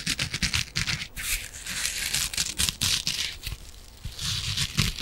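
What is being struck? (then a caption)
Foam kitchen sponge with abrasive scouring side. A palm-sized yellow foam kitchen sponge is scratched with long nails on its green abrasive scouring side. The result is a dense run of bright, rough scratching and rasping strokes with a faint low thump beneath, the bursts coming in quick uneven clusters with brief pauses between them.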